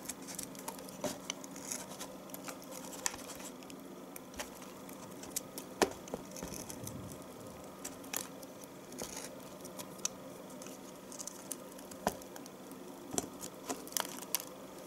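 A knife blade repeatedly shaves curls from the top of a solid yellow bar of household soap, held close to the microphone. Soft, dry scraping and crisp ticking cuts sound over a quiet, steady background hiss, with short bright clicks scattered throughout.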